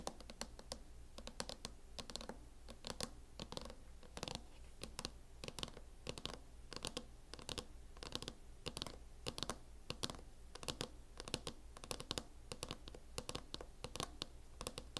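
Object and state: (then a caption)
Plastic laptop case. Long nails tap rapidly on the lid of a closed MacBook in a teal matte plastic hard-shell case, about 64 quick, sharp clicks over 15 seconds. Each tap is short and dry with a bright edge and no ring, over a steady low hum.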